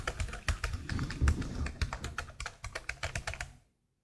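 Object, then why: Plastic laptop keyboard keys. A black plastic laptop keyboard with hollow plastic keycaps is typed on and tapped quickly by long blue nails. The result is a rapid, uneven stream of sharp, bright clicks over a low, soft thudding, and it stops abruptly just before the end.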